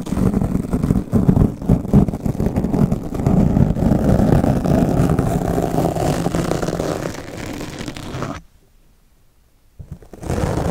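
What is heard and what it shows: Two steel double-edge razor blades held in the fingers cut and scratch a black porous foam microphone windscreen, which becomes increasingly torn. The result is dense, muffled, low-heavy scraping and rustling that runs for about eight seconds, drops to near silence for over a second, then resumes.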